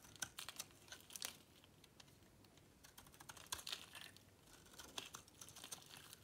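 A solid, hand-sized bar of dry green soap is held in the palm and shaved with a metal box-cutter blade, cutting off crunchy flakes that fall onto a pink cloth. The sound is quiet, bright, crisp crackling and scraping in quick bursts, with a softer stretch in the middle. Each tick is dry and dies away almost instantly.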